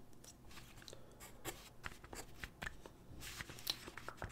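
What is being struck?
Paper sheet on a wooden desk, graphite pencil.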